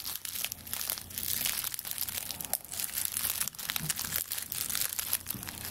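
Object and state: Straw broom.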